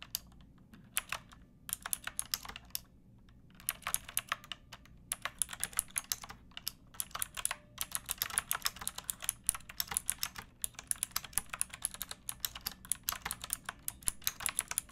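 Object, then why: Plastic mechanical keyboard. Fingertips with long painted nails type on a pink backlit plastic mechanical keyboard with round typewriter-style keycaps and a hollow case. Rapid, bright, clicky keystrokes come in bursts separated by short pauses, each one dying away almost instantly over a faint low hum.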